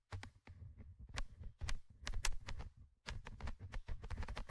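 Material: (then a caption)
Metal mesh. A thin orange stick tip scratches and taps the small metal mesh microphone grille of a Tascam handheld recorder. It makes close, heavy, bass-filled rubbing thumps broken by quick, bright, sharp ticks, with brief silent gaps between bursts.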